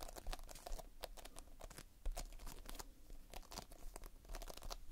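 Fingertips press, pinch and scratch a large mass of multicolored Playfoam, foam beads held in a sticky binder. It makes dense, irregular crackling and crunching with sticky tearing and many short, bright clicks over a soft low rumble. The sound stays close and quiet throughout, with a slightly louder burst near the middle.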